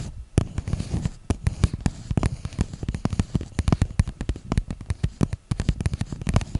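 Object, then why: Small clear plastic cup. Long nails tap and scratch the sides of a small, hollow, empty clear plastic cup held near a microphone. It makes a rapid, irregular stream of sharp, close clicks and taps with a deep, thumpy low end and short scratchy crackles between them. Each tap dies away almost instantly.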